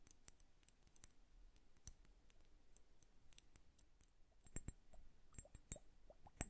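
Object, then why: Liquid-filled glass hourglass. Long nails tap the glass bulbs of a liquid-filled bubble hourglass tilted sideways, making an irregular series of quiet, sharp, bright clicks and clinks that die away almost instantly. Soft plopping sounds with short rising tones from the liquid come in toward the end, over a faint low background rumble.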